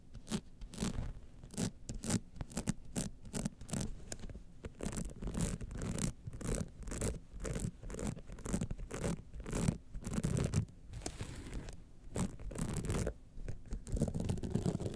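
Long nails scratch the studded base and sides of a gold rhinestone-studded evening clutch bag held upended. Dense, rapid scratching and clicking come in short, close bursts throughout, with a low-weighted, gritty texture and steady bright crackle.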